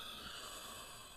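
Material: Nothing is struck.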